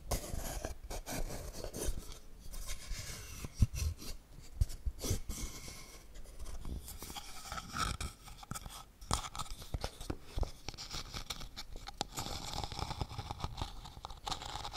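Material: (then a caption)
Wood. Long painted nails scratch and tap a small hollow wooden toy camera box with a carved lens ring, moving across its grain and dials. The result is a dense, crunchy stream of close, dry scratches and quick clicking taps, heavy in low tones with some brighter rasping. Each tap dies away almost instantly.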